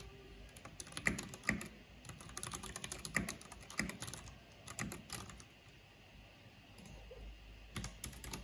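Fingertips with long painted nails type on a black plastic backlit mechanical keyboard with hollow plastic keycaps. Quick, irregular runs of short clacks combine a low, hollow thock with bright clicks that die away almost instantly. A few louder strikes stand out, and there is a brief quieter lull near the end.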